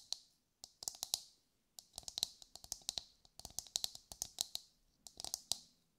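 A brown, husked whole coconut with a hard, fibrous shell is held in both hands and tapped with long, light-grey nails. Quick, bright, dry clicks come in irregular bursts with short pauses between, each one dying away almost at once, with a faint hollow undertone and almost no low end.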